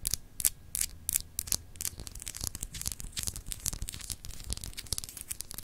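Long acrylic nails scratch across a small, solid, clear glass globe paperweight with raised etched continents. Quick, bright, dry scratching strokes rasp and tick over the textured surface in a dense, uneven stream, with a faint low rumble underneath.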